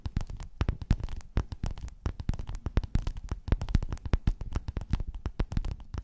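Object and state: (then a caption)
Quilted faux-leather cover. Long nails scratch and tap rapidly with both hands across a flat, padded, gold metallic quilted faux-leather cover. The result is a dense, fast patter of dull, low, muffled thuds that die away almost instantly, with faint scratchy clicks over the top.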